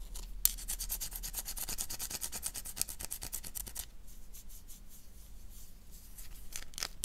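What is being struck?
Bar of soap.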